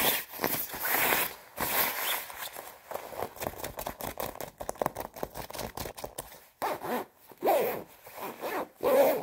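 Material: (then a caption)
Nylon. Long red nails scratch quickly and roughly across the sleeve and chest of a white quilted nylon down jacket and handle the area around its plastic zipper. The result is a dense run of short, crisp, crinkly scrapes and rustles with a bright hiss, broken by brief pauses, and a few louder, fuller rasps toward the end.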